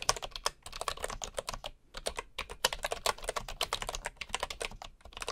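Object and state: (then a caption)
Bamboo wooden keyboard being typed on. Fingertips of one hand type steadily on a bamboo wood keyboard, with a wooden mouse lying idle beside it. Quick, bright, dry key taps fall in dense bursts, with a brief pause near the two-second mark before the typing resumes.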